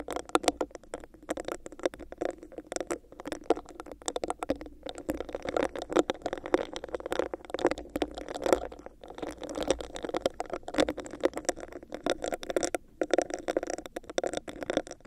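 Long nails quickly scratch and tap on a hollow, empty, clear textured plastic cup with a bumpy surface held over a microphone. A dense, continuous stream of rapid clicks and scratchy rasps carries a hollow, boxy mid-range tone around 540 Hz, with each tap dying away almost instantly and little deep bass.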